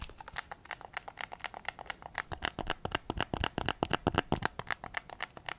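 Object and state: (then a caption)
Plastic game controller tapped. A white PS5 controller is held in both hands with its back facing out while fingertips and nails tap its hollow plastic shell and triggers. The result is a quiet, rapid, uneven run of short, dry, bright plastic clicks, about four per second, each dying away instantly with no ring.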